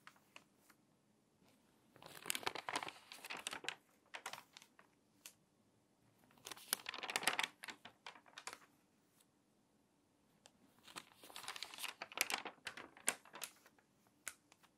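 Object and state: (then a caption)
Crinkly water-damaged paper magazine. Long nails scratch the page of a crinkly, water-damaged paper magazine, then its pages are flipped quickly. The result is three bursts of bright, dry crinkling and rustling, separated by quiet stretches with light scratchy ticks.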